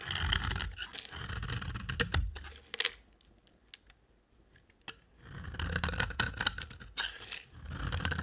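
A box cutter blade shaves and scrapes crumbly curls off the end of a dry, solid, orange-brown, rectangular, palm-sized soap bar held in hand. Bursts of bright, dry, crunchy scraping are followed by a near-silent pause broken by a few faint ticks. The scraping then resumes.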